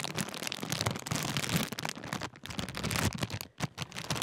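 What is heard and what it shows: Fingertips crinkle and fold a large Walkers sharing-bag crisp packet made of thin foil-lined plastic film. The result is a dense, continuous crackling that spans from low thumps to bright, sharp crinkles. Brief quieter pauses fall around 2.3 and 3.5 seconds.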